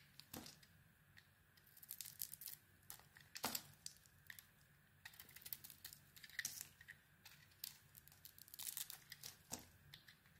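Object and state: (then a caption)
Bar of soap being carved. A solid black-and-white bar of soap, held in the hand, is scraped and carved along its edge with a small metal blade. Quiet, crisp, bright shaving and crackling strokes come in irregular bursts, with a few sharper cuts standing out, and each stops almost instantly with no ring.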